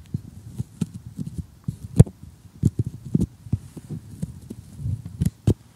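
An assembled thin, solid cardboard jigsaw puzzle lying flat on a table with loose pieces is tapped and poked with metal tweezers and short glittery nails. It gives an irregular run of short, dull, low-pitched taps and soft knocks that stop at once with no ring, over a faint high hiss.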